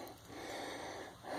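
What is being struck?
Nothing is struck.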